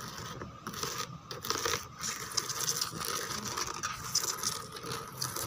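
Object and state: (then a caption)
Textured plastic chair back. Long teal nails tap and scratch the raised rose relief on the back of a white molded plastic chair. The result is a steady, bright, dry scratching and rasping, dotted with small crisp taps and soft crinkly textures.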